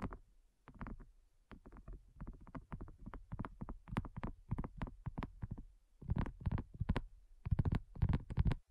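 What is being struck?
Silicone coaster.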